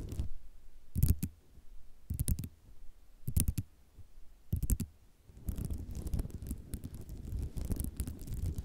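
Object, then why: Ceramic mosaic tile sheet. Long nails tap quickly with both hands on a flat sheet of small white square ceramic mosaic tiles resting on cloth. Short clicking bursts come in separate clusters for about five seconds, then merge into a continuous rattling, scratching clatter. The sound is dull and low-heavy, with the clicks dying away almost instantly.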